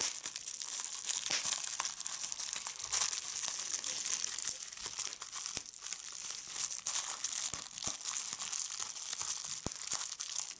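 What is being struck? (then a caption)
Plastic bubble wrap sheet. A large sheet of clear plastic bubble wrap lies on a checked tablecloth, its edge pinched between fingertips with red nails as bubbles are popped one at a time. Steady bright crinkling runs throughout, broken by sharp, quick pops that die away almost instantly, with almost nothing in the low range.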